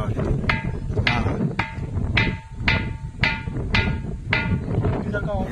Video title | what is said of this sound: खांदेरी आणि उंदेरी किल्ला... शिखर सोबत..--2024-- किल्ले मोहीम -- | पुढे पुढे छान आवाज येतो. या ठिकाणी घंटेसारखा आवाज येतोय